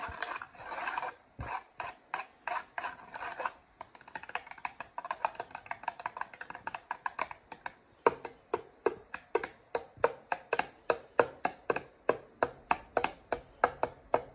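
Fingertips quickly rub and scratch the foil lid of an instant noodle cup, making dry, crinkly scraping strokes. Longer rubbing bursts give way to a dense, rapid run of light scratches, then sharper, evenly spaced strokes toward the end. The sound is papery and bright with almost no low end, and each stroke stops short with no ring.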